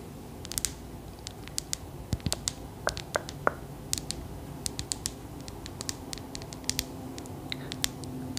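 Long acrylic nails tap quickly and irregularly on the smooth surface of a clear, solid glass crystal ball about the size of a palm, held in the hand. Each tap is a sharp, bright click that dies away almost instantly; a few give a brief glassy ping, and a couple of soft low thumps come from the hand's grip. The taps sit over a quiet, steady background hum.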